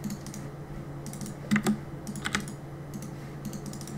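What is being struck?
Mechanical keyboard with plastic keycaps.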